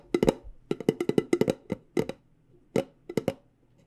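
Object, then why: Metal tea tin. Long dark-painted nails tap on the lid and sides of a hollow, medium decorated cylindrical metal loose tea tin with a light-colored lid, held in the hand. Seventeen short, dry, clicky taps come in irregular bursts, each with a hollow tone around 420 Hz and almost no ring.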